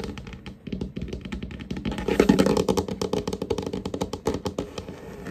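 Fingertips and short nails of both hands tap and scurry across a large, solid, varnished wooden tabletop in quick, irregular bursts of dull, short knocks with a warm low-mid body and almost no ring. The taps swell to their loudest and densest just after two seconds, then continue more scattered and softer to the end.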